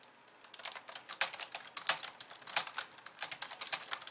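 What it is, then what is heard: Plastic computer keyboard. Two hands with long nails type on a pink plastic computer keyboard with white keys, tapping the keys after a brief quiet start. A rapid, uneven run of short, bright clicks follows, each dying away almost at once, with no low-end weight.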